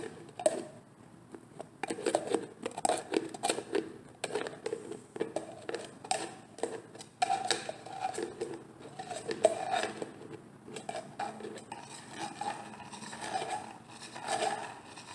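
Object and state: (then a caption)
Plastic jar tapped with nails. A medium orange plastic hair cream jar with a white plastic lid is held in hand and tapped and scratched on the lid and sides with long painted nails. Quick, dry plastic clicks and taps come in irregular bursts, with a hollow mid-range tone near 640 Hz and scratchy, bright brushing between them. Each tap dies away almost instantly.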